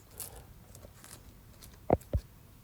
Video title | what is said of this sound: 🍕Testing The First 00 Pizza Flour By Ooni (Great Results) | listen how crispy is that